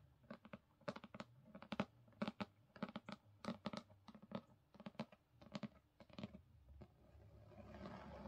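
Long fingernails from both hands tap rapidly on the front cover of a solid black hardcover copy of Crooked Kingdom with gold foil. Quick, dry clicks with a low, hollow body come in uneven bursts and stop almost instantly. In the last second, a soft, rising scratchy hiss takes over.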